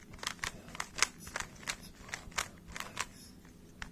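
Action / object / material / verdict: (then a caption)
scrape / plastic puzzle cube / plastic / none. Fingertips twist the layers of a small hollow plastic 3x3 speed cube held in both hands, giving about eleven rapid, bright clicks. Each click is short and snappy, dying away almost at once over a faint low background.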